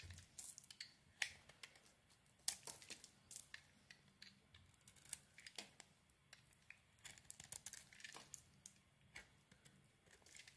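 A metal blade carves thin slices and flakes from a rounded solid white soap bar with a grey and pink coating, held in the hand. Quiet, bright, crisp scraping and cutting sounds come in short, irregular bursts, each stopping almost at once with no ring.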